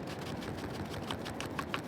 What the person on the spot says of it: take your scoop shake it out and you can hear it